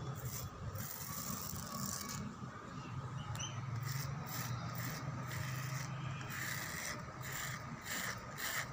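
Fingernails and fingertips scratch back and forth across a solid, whitewashed concrete pillar with rough, peeling paint, set in an outdoor lattice wall. A steady, gritty rasp carries a dull low body, with brighter scraping bursts on each stroke.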